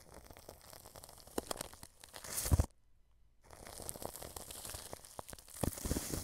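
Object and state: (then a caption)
Plastic cling film over a microphone, brushed. A wide paintbrush held in the hand rubs clear cling film stretched over a white dome microphone, making close, crinkly scratching and rustling with soft low thumps. The brushing builds to a louder crunchy burst, stops for a brief near-silent pause, then resumes and grows louder again toward the end.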